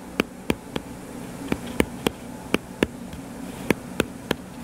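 Fingertips tap on the cover of a solid, purple-covered paperback book lying flat. About a dozen short, dry taps land in an uneven rhythm, each a soft low-mid thud with a brief bright click that dies away almost instantly. A faint steady hum and hiss sit underneath.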